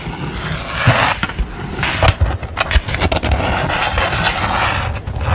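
A thin purple construction paper sheet with a drawn window on it is held and handled while long nails scratch and tap across it. Crisp, dry scratching and rustling fill the clip, broken by soft, quick taps and dull low thumps, with a bright papery hiss throughout.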